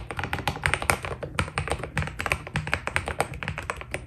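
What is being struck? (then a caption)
Mechanical keyboard with plastic keycaps. Both hands type continuously on a white full-size Keydous NJ80 mechanical keyboard with a steel plate, foam dampening and cream Cherry-profile PBT plastic keycaps, fingertips pressing and tapping the keys. A rapid, uneven stream of short, crisp clacks is heard, each with a bright top and a soft low thock that dies away almost instantly.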